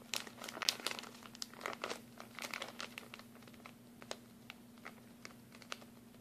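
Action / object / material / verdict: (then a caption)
scrape / thin plastic bag holding small glue sticks / plastic / none. A clear plastic packaging bag of mini glue sticks, partly full, is crinkled and squeezed with the fingers. Bright, crackling crinkles come in dense bursts early on and thin out into sparser, sharp crackles toward the end. A faint, steady low hum runs underneath throughout.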